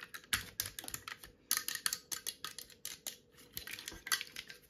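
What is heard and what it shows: A hand-sized steel rivet gun with black handle grips is tapped and scratched with long nails, giving a rapid, uneven run of sharp, bright metallic clicks and short scrapes. Each tap is dry and dies away almost instantly, with little low end beneath a faint steady hum.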